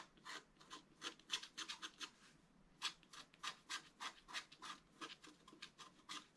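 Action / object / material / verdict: scrape / scratch-art card with black coating over foil, wooden stylus / coated card / none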